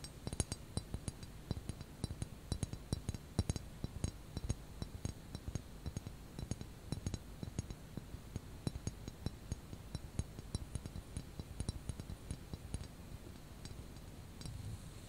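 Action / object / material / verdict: tap / small ceramic teapot / ceramic / none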